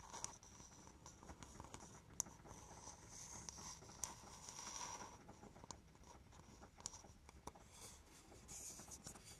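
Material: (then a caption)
Coconut shell. A hollow, empty, polished brown coconut shell bowl is held in both hands and scratched and tapped with long painted nails. Soft, bright scratching runs throughout at a low level, broken by sharp, short clicks from the taps that fade almost instantly.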